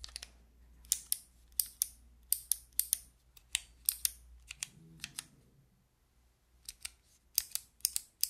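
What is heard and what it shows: Long nails click the white keycaps of a handheld fidget toy with a clear plastic frame, held flat. Sharp, bright plastic clicks come in quick, uneven bursts with almost no ring. A faint low hum sits under the first half, and a brief soft rustle fills a short pause near the middle.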